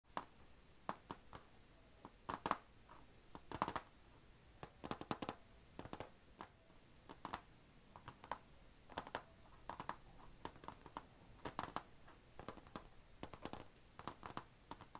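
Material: Plastic.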